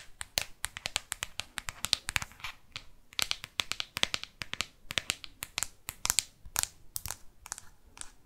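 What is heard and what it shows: Long artificial nails scratch and tap the matte black plastic back and edges of a smartphone. Rapid, bright, dry clicks and short scratchy strokes follow one another in a dense, irregular stream, each one ending almost instantly with little low end.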